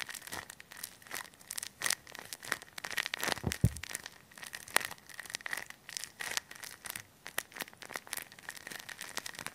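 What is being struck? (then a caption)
Thin plastic bag filled with polyester fiberfill. A hand-sized, soft and full clear thin plastic bag packed with white polyester stuffing is squeezed and crinkled with fingertips and short nails right up against a mini mic. Dense, irregular crinkling and rustling pops come in quick, uneven bursts with bright, crisp edges, over a faint steady tone near 1.9 kHz. Each crackle dies away almost instantly.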